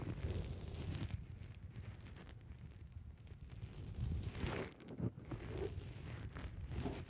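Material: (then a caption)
Foam. Fingertips press and pinch a black foam windscreen on a microphone. The result is a dense, low, rumbling crackle with soft rustling swells and a few sharper pops, steady throughout.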